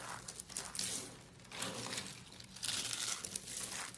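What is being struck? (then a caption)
Soap curls. A pile of small, hollow, yellow dried soap curls is pressed and crushed with palms and fingers. It makes dense, bright crinkling and crunching crackles in uneven bursts, and the curls break down into crumbly flakes.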